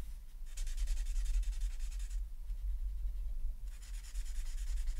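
A felt-tip alcohol marker held in the right hand rubs and scratches across a flat sheet of white paper printed with a mandala while filling in color; the sheet lies on a folder on a wooden desk, held by a left hand with long nails. Two stretches of bright, scratchy rubbing stand out, from about half a second to two seconds and again from about three and a half seconds to the end. A quieter pause separates them, all over a steady low hum.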